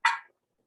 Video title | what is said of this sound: Glassblowing Demo with JDraper Glass | if you've got sharp ears, you can hear her tapping on the table. That is guaranteed that the glass is in fact cooled down